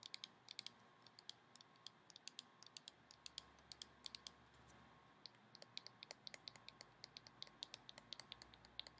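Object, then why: Small plastic cream bottle. Long painted nails tap and scratch on the sides of a small, handheld taupe plastic Living Proof styling cream bottle with a white cap, hollow and appearing filled with product. A quick, uneven run of sharp, bright, dry clicks with no ring rises over soft scratching and a faint steady hum, all at a quiet level.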